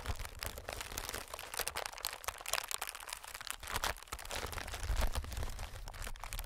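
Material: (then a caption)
Plastic film. Fingertips of both hands tap and scratch a clear, inflated plastic-film air packing pillow. The result is a dense, continuous stream of bright crinkling, crackling taps and scratches over a low, steady rumble, with no pauses.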